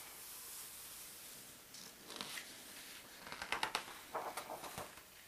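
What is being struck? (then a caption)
Paper atlas book with thin glossy pages. One hand's fingertips and palm rub the thin glossy map pages of a large open world atlas and slowly turn its pages. A faint steady hiss gives way to soft, bright paper rustles and clusters of sharp, crinkly crackles as the pages slide and flip, all at a quiet level with little low end.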